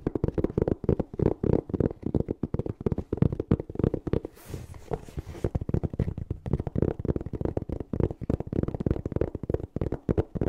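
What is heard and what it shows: A closed, hollow black hard-shell EVA zipper case covered in fabric is held close and rapidly tapped and scratched with fingernails and fingertips. The result is a dense run of dull, low, dry taps with almost no ring, broken near the middle by a brief softer stretch of hissy, bright scratching before the quick tapping resumes.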